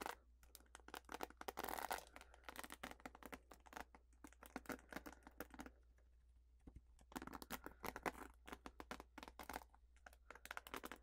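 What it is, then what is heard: Plastic paddle hairbrush. Long fingernails scratch across the bristle bed of a purple plastic paddle hairbrush. The result is rapid bursts of dry, bright clicking and scratching that come in dense clusters, with a quieter stretch near the middle. A faint low hum runs steadily underneath.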